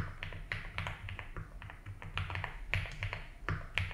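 Fingertips type continuously on a compact 75% mechanical keyboard with a blue case and white and blue ABS keycaps, resting on a grey desk mat. Quick, bright key clacks land in an irregular stream over a steady low hum, each dying away almost at once.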